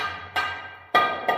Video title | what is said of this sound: Cobalt Mining Museum & Underground tour. Come for a day, discover a century. | right there oh yeah different sound you pry that out